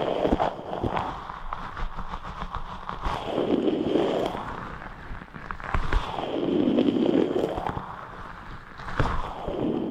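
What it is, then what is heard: Rubber stress ball filled with gel beads. A large translucent rubber stress ball filled with red and white water gel beads is squeezed and rubbed with the fingertips of both hands. Squelching, squishy rubbing and crackly scraping sounds come in waves, with low-mid swells as the ball is compressed and sharp snapping ticks in between.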